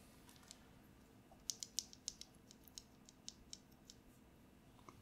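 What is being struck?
Plastic mechanical keyboard switch.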